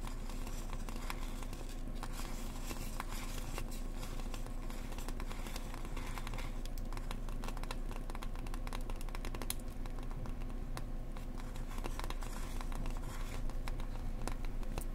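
Long dark-painted nails on both hands tap and scratch the shiny silver foil face of a round piece of rigid foam insulation board with a visible foam edge. Quick, irregular crinkly taps and scratchy rustles run continuously at a steady, quiet level over a low, constant rumble.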